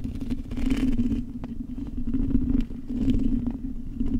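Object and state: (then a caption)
Metal microphone mesh grille being scratched. Long acrylic nails scratch the hollow metal mesh grille of a silver microphone. The result is a continuous, dense scratching rumble with a steady low hum near 250 Hz, muffled low-end thumping, and faint bright crackles, dipping briefly in level before resuming.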